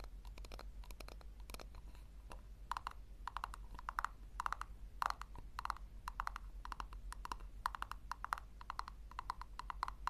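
Long lilac nails scratch and tap rapidly on the base of a small hollow pink plastic tub, which is tilted so the base faces up. The result is a quick, uneven run of dry, clicky plastic taps with a hollow midrange tone and crisp high ticks over a steady low hum.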